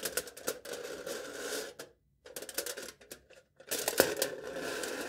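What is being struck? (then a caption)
Aluminium foil stretched over a cup. A knife tip taps and scratches the top of aluminium foil stretched over a cup, near the center of the foil-wrapped cylinder. Sharp clicks ride on bright, crinkly scraping with a steady tone around 530 Hz, broken by two short silences before a louder final burst.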